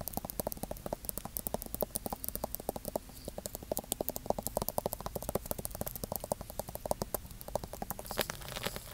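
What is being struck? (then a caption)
Thick paperback book with paper pages and a glossy card cover. A thick paperback Bible with a glossy printed cover and white paper page edges, held solidly in one hand, is tapped and scratched on the cover with fingertips and nails. It makes a quick, steady stream of soft, dry clicks with a papery midrange around 600 Hz and brief bright nail ticks. Near the end it shifts to a brighter, hissier scratching.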